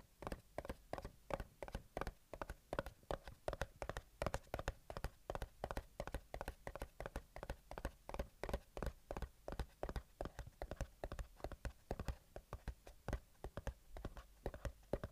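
Fingertips of one hand tap and scratch the top of a small, closed, hollow white cardboard earbuds box. The result is a quiet, steady stream of dozens of short, dry taps with a hollow tone around 555 Hz and a soft low thump. Each tap dies away almost instantly, with a faint scratchy texture between taps.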